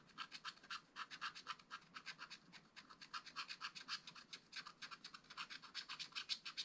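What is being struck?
Black-coated scratch-art card scratched with a wooden stylus.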